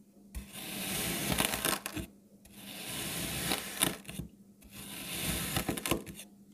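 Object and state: Kinetic sand block being cut.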